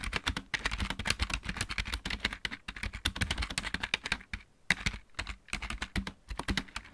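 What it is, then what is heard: Plastic mechanical keyboard. Fingertips of both hands type rapidly on a backlit plastic computer keyboard with mechanical keys. The keys give dense, crisp clicks with a bright top and a soft low thump under each press. The typing runs in quick bursts with brief pauses and dies away almost instantly after each stroke.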